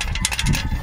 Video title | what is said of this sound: CAUSED OF HIGH RPM - SUZUKI EVERY WAGON DA64W | Nandito sa loob yung bakal ng PCV, tapos yung spring. Maririnig natin yan pag inalog-alog natin dyan.